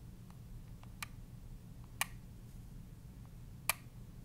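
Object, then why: Plastic handheld game console buttons. A handheld gray plastic Nintendo Switch console with Joy-Con controllers is held in both hands while the thumbs press and click its plastic buttons and sticks. Three sharp, bright clicks stand out over a steady low hum, with fainter ticks in between. Each click is dry and stops almost at once.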